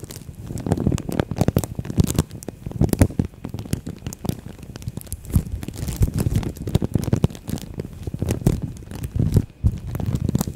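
A thin green-and-white printed plastic bag wrapped around a microphone head is squeezed, rubbed and crinkled with long nails and fingertips. It makes a dense, continuous stream of hollow crinkles and sharp crackles, with a heavy, boomy low end and very little brightness.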